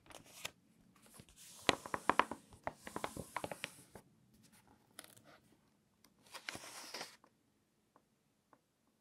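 A page of an open glossy-paper food magazine is crinkled and turned by hand, giving a burst of crisp, bright crackles and sharp paper snaps over the first four seconds. The flat palm and fingertips then rub across the glossy spread in soft, hissy swishes, ending with a few faint ticks before silence.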